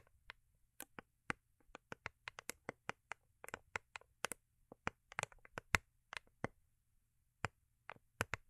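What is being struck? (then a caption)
Foil-covered cardboard gift box. Long acrylic nails tap the underside of a small, hollow, rigid cardboard gift box with a holographic foil-paper covering, held in the hands. Many quick, sharp, dry clicks come in an uneven rhythm, each dying away at once, with a bright, crisp edge over a faint low hum.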